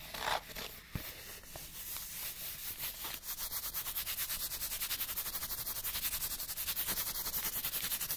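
Fingertips rub and scratch a small, partly flattened, printed cardboard light bulb package. It starts as an uneven dry rubbing, then about three seconds in becomes a fast, steady stream of bright, papery scratching strokes that grows slightly louder to the end.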